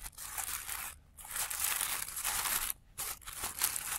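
Fingertips crinkle and fold the thin petals of a blue tissue paper flower resting on black cloth, with the sound played in reverse. Bright, dense paper crinkling runs almost continuously, broken by two brief silences around one second and just before three seconds.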